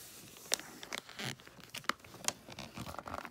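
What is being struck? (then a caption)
Foil wrapping paper on a gift box. Fingertips and long nails rub, crinkle and handle a gift box wrapped in holographic tree-print foil paper. Bright, crisp foil crinkling and rustling is heard, with a few sharp crackling snaps standing out.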